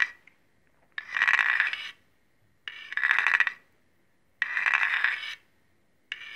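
A large steel chef's knife with a dark blade and a solid metal handle, held in one hand, has its edge drawn along a steel honing rod in sharpening strokes. Three long, bright metallic scrapes ring around 2 kHz, separated by quiet pauses, and a fourth stroke is just starting as the clip ends.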